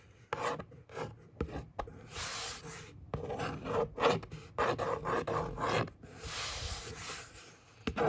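Long fingernails scratch and trace back and forth across a hollow brown corrugated cardboard box panel. The result is a series of dry, raspy scraping strokes, some quick and some drawn out, with a hollow papery tone, short pauses between them, and little ring after each stroke.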